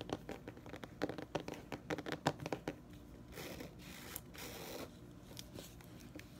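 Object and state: Hardcover book cover scratched and tapped.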